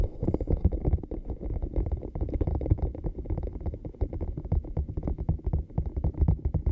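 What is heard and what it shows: A small, hollow, blue camo-pattern cup that looks like silicone is held in both hands and tapped and scratched with the fingernails. A rapid, continuous stream of soft, muffled, deep thumps is heard, with very little brightness and almost no ring after each tap.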